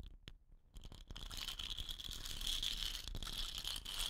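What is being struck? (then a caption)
Painted wooden rain stick. Long nails tap and scratch the painted body of a hollow, dot-painted wooden rain stick standing upright on cloth. A few soft, sparse taps at the start give way after about a second to a steady, dense stream of crisp scratching and tapping, with a bright ringing tone around 3 kHz running through it.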